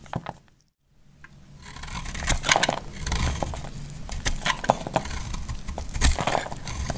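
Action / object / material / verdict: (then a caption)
scrape / bar of soap shaved with a knife blade / soap / none. A hand-sized, solid yellow bar of Clinico soap is held in the hand and shaved into crumbly chunks with a utility knife blade. A few short scrapes are followed by a brief near-silence, then a steady, dry, crunchy scraping builds up, dotted with sharp, bright clicks and crackles as the chunks break away.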